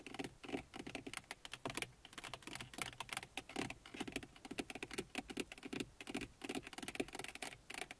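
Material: Plastic.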